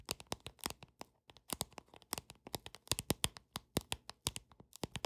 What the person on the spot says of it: 13:41- Tapping Deck Of Cards With Long Nails